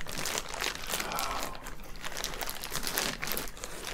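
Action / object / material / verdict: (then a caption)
scrape / thin clear plastic bag / plastic / none. Both hands grip and pull at a clear, thin plastic bag wrapping a soft orange item on a table, working it open. The plastic gives a dense, continuous bright crinkling and rustling that stays at a fairly steady level for about four seconds, with small rises in loudness as the hands tug.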